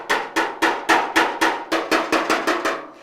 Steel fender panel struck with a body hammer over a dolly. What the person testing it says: it's Hollow there I know I don't want to hit real hard